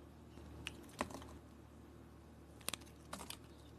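An oval, solid pink soap bar with glitter remnants, held in the hand, is shaved into flakes with a metal blade. Several short, crisp scraping clicks with bright edges stand out over a faint, steady low hum.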